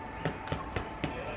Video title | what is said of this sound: Focaccia | it should sort of sound hollow when you knock it on them